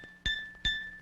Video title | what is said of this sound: PERCUSSION INSTRUMENTS (Educational video) | sounds like glass to me that's the voice of glass